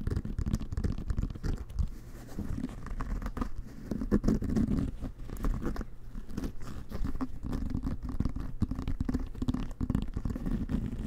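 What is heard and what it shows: Fingertips and nails scratch and tap the pebbled leather-like cover of a full-size, inflated, hollow American football held in both hands. The result is a dense, continuous run of soft scratching and quick dull taps with a low, hollow resonance throughout, lasting about eleven seconds with almost no bright content.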